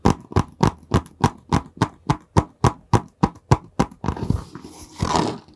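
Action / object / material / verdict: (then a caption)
tap / long cardboard box / cardboard / none. Fingertips tap a long, narrow, hollow printed cardboard product box held horizontally, making 14 quick, dull, low thumps in a steady rhythm. The fingertips then scratch across the box, giving a brighter, rougher scraping sound to the end.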